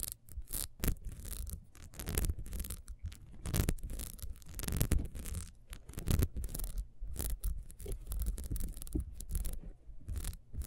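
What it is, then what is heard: Ribbed wax candle being scratched. Long nails scratch quickly along the ridges of a small, solid, ribbed wax beehive candle. The result is a dense run of irregular, rasping scratches with short breaks between strokes. The bursts carry a dull, muffled low-end rumble under thin, bright scratchy edges.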